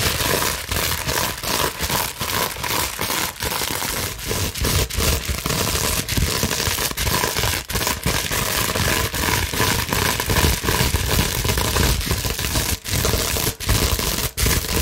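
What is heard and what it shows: A large clear plastic bubble wrap sheet is scratched with long nails and scrunched, making a dense, continuous crinkling and scraping noise. The sound stays steady and fairly loud throughout, broken only by brief quiet gaps, with a strong low rumble beneath bright crackle.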